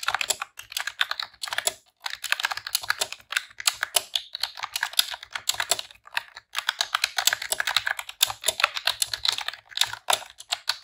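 Long press-on nails and fingertips type rapid key presses on a pink retro-style plastic computer keyboard with round keycaps. The result is a dense stream of sharp, bright plastic clicks and clacks, centred around 3.7 kHz with almost no low end. The clicks come in quick bursts separated by brief pauses.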